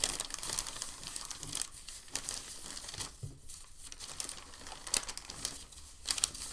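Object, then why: Thin packing paper sheet. Fingertips press a thin, crinkled white packing paper sheet, then lift and fold it. The result is steady bright crinkling and crackling, with a few sharper rustles along the way and little low-end weight.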